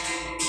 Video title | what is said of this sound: Franklin 31/03/2022 | o extintor de água tem esse barulho, como se fosse um sino, né? Dá a impressão que está vazio.